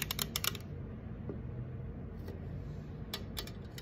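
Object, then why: Aluminum drink can. Long acrylic nails tap and scratch the side and top of an unopened, apparently full 355 mL green Sprite aluminum can. A quick run of sharp, bright clicking taps opens the clip, gives way to a softer scratching stretch, then returns in another short burst of taps near the end. A steady low rumble sits underneath throughout.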